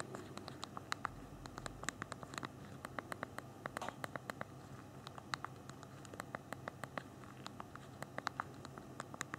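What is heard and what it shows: Thumbs rapidly tap the small plastic keys of a handheld BlackBerry phone's physical keyboard while typing. The result is a quick, uneven stream of sharp, dry clicks with a bright edge and almost no ring, over a soft low background hiss.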